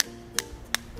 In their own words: terus pulpen dan spidol bunyinya tek tek tek